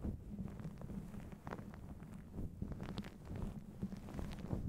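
A fluffy grey-and-black faux fur windscreen over a microphone is held in one hand and rubbed and squeezed with the fingertips of the other. The close contact produces a continuous low, muffled rumbling with soft scratchy brushes of fur.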